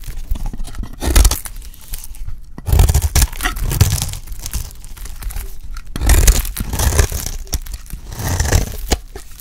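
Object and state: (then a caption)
Dry soap bar being cut. A solid, dry yellow bar of soap is held in the hand and scraped and cut into thin curls with a utility blade. Dry, crunchy tearing and crackling scrapes run throughout, swelling into louder bursts several times with a deep, thumpy low end and bright crisp edges. Each stroke stops short, with quieter scraping in between.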